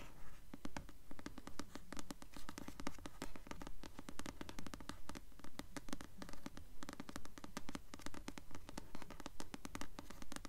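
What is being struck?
Paperback book with paper cover.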